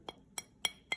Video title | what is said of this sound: Clay Projects: Leaf Press - Oxide Washing (Glazing Tutorial Also Included) | anytime you hear that ping sound that shows you that it's in the bisque stage